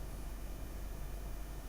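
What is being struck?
Nothing is struck.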